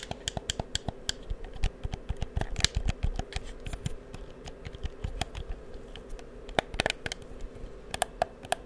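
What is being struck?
Plastic game controller.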